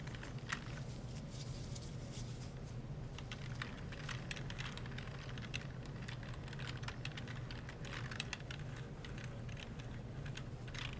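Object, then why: Plastic computer keyboard. A gloved hand rubs and wipes a disinfectant wipe across a full-size black plastic computer keyboard with hollow key caps resting on a desk tray, pressing and clicking the keys as it goes. Quiet, rapid clicks and soft rustling scrapes patter continuously over a steady low hum.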